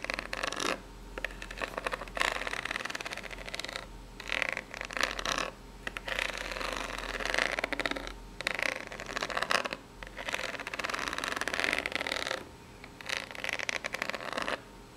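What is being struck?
Corrugated cardboard box.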